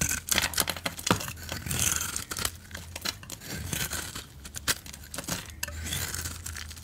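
A utility knife blade shaves the grey glitter coating off a solid, rectangular red soap bar held in the hands. The steady run of crisp, bright scraping and crackling strokes sits over a faint low hum.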